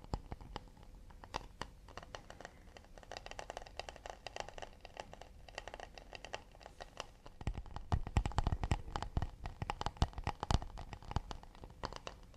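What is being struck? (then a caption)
Acacia wood plate. Fingertips tap quickly and lightly on an acacia wood plate, producing a dense, uneven stream of short, dry clicks with a soft scratchy edge and almost no ring. The tapping stays quiet and delicate at first, then grows louder and fuller, with deeper thuds from about the midpoint onward.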